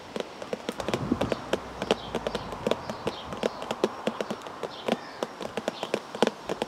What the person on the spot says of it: ASMR Tapping On A Tea Bag Box